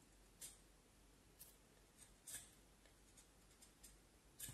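A small knife scrapes and carves the top end of a solid vine wood stick held upright. About six short, bright scraping strokes come at irregular intervals over a quiet, low background hiss, each fading quickly.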